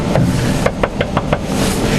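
Knocks on a brittle type of aluminum in the body structure of a Tesla under repair give a series of dull, short taps over a low background hum. Each knock dies almost at once with no ring, the dull sound marking this aluminum apart from the steel part nearby.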